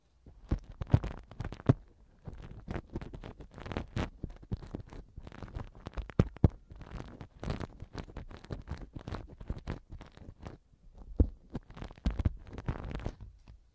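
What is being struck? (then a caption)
Silicone ear pick in a silicone microphone ear cover. A black silicone ear pick rubs and scrapes inside the right silicone ear cover of a TASCAM binaural microphone. The result is close, muffled, irregular scratching and rustling with soft low thumps, mostly deep in tone with little brightness.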